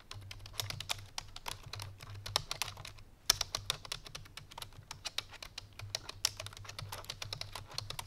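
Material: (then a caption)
Plastic. Fingertips and painted nails of both hands type quickly on a full-size black plastic computer keyboard resting on a white fur rug. The result is a dense run of short, bright, clicky key taps over a faint low hum, with a few sharper, louder clacks standing out, including one just past three seconds.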